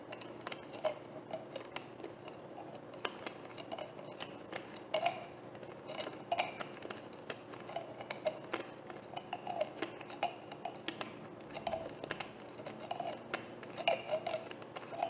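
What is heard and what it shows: A medium, hollow, opaque white plastic bottle is held in one hand while the fingers and nails of the other hand twist and tap its cap. The result is a steady run of quick, dry plastic taps and clicks with a light hollow ring, each dying out almost immediately over a quiet background hiss.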